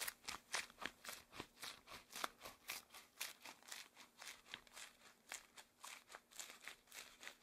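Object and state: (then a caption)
Rubber gloves rubbing. Long, thin, hollow cream-beige rubber gloves worn on both hands clasp, squeeze and rub together with interlaced fingers. About 21 quick, bright rubbery squeaks and crinkles come in an uneven rhythm of roughly two per second, each dying away at once with almost no low end.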